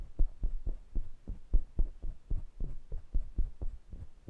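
Fingertips rub and tap the metal mesh grilles and metal rims of two small pencil condenser microphones. About fifteen soft, deep thumps land at an uneven pace, each dying away almost at once, with a faint rubbing texture between them. The sound stays entirely low and muffled, like a slow, dull throb.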